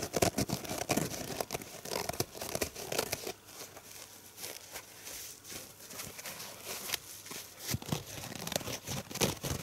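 A purple foam dish sponge is held in one hand while the fingers squeeze it and tap or scratch its soft, porous foam. The result is a close, dry crackling and crinkling texture with quick, bright scratchy bursts and soft squishy presses that rise and fall throughout.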